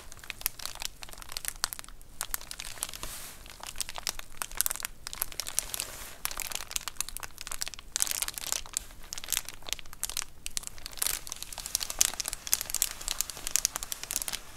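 A large white plastic Amazon Prime bubble mailer lies flat while long acrylic nails scratch and tap across its bubbled plastic surface. The result is a dense, steady stream of bright, crinkly scratches and quick clicky taps with very short decay, continuous throughout the clip.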